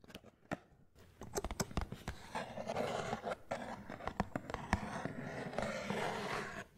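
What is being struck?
Small cardboard box.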